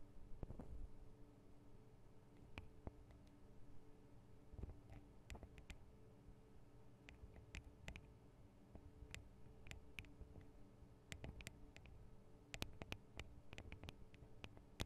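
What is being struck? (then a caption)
Small metal and plastic microphone capsules on a handheld recorder. Long acrylic nail tips tap on the tops of the two small hollow metal and plastic microphone capsules of a Tascam DR-40 recorder. Quiet, sharp, bright clicks with very short decay sound in irregular bursts over a steady low hum.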